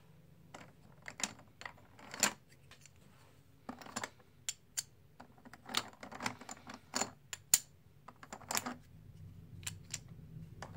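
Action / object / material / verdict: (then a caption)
tap / plastic composite poker chips / plastic / none. A handful of black and white plastic composite poker chips, solid discs, are riffled and stacked by fingertips over the box. The result is bursts of rapid, bright, sharp clicks with almost no ring, separated by brief quiet gaps over a low, steady hum.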